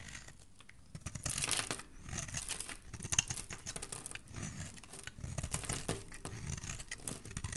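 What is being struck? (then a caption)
Bar of soap. A solid white oval bar soap, held in a hand with dark painted nails, is shaved with a utility knife blade so that white curls peel away. The blade makes a continuous dry, crinkly scraping and tearing sound, broad and bright. The strokes rise and fall in uneven bursts without clearly separated hits.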